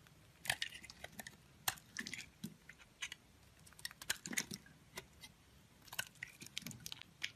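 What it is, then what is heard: Bar soap being carved. A box-cutter blade scrapes and carves thin curls off the surface of a solid pink soap bar held in a palm with long painted nails. The clip has a series of short, crisp, crunchy scraping bursts with bright, hissy texture, separated by quiet pauses.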